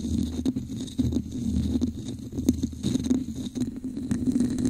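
A hollow red textured plastic cup placed over the mic is tapped on its base and scratched along its sides with long acrylic nails. The result is a close, muffled stream of quick taps and rough scratching with a hollow mid-low resonance around 250 Hz and faint bright hiss above. Each sound dies away almost instantly.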